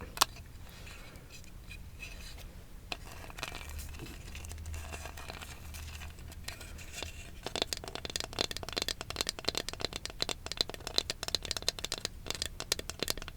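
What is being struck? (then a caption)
Small carved wooden ornament. A wooden Going Merry Jolly Roger flag ornament is tapped and scratched up close. Quiet, dry scratching and rubbing comes first, then a dense run of sharp, crisp taps from about halfway through, over a faint low hum.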